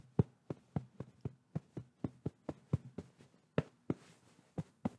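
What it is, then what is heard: Fabric pillow tapped. Fingertips and palms tap, pat and rub a medium-soft white quilted fabric pillow held at the microphone. Sixteen soft, muffled thuds land in a steady rhythm, low and dull with almost no ring. A brief brushing rustle follows near the end.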